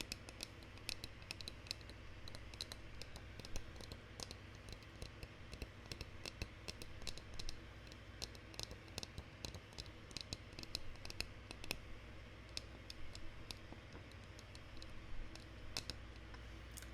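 Light, dry tapping and clicking on the smaller painted wooden dolls from inside a Russian nesting doll, whose insides and bases are raw, unfinished wood. Many quick, short clicks with almost no ring sit over a steady low hum.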